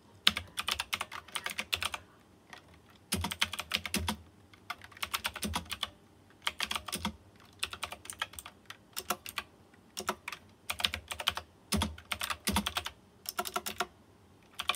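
A white plastic mechanical keyboard with round chrome-rimmed keycaps and RGB lighting is typed on quickly by fingertips. Bursts of sharp, bright clicky keystrokes arrive in runs separated by short pauses, and each click dies away almost instantly.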